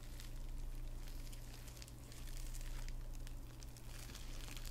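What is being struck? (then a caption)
Padded envelope lined with plastic bubble wrap. A hand-sized, hollow, flat padded envelope lined with plastic bubble wrap is held close while long red-painted nails scratch and rub the bubbles and crinkle the wrap. The result is a steady stream of soft crinkling and crackling with bright scratchy ticks over a low, even rumble.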